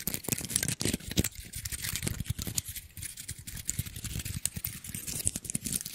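A small, dry brown pine cone with solid woody scales is held in the hands while fingertips and nails scratch and flick the scales close to the mic. The result is a dense run of quick, dry crackling ticks and scrapes with no ring, pairing a low thump with a bright, crisp edge.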